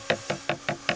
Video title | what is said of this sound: HOW TO PREPARE A BRONZE RESIN // THE LOST FOUNDRY | you can hear when there's a bit of casting that isn't strong enough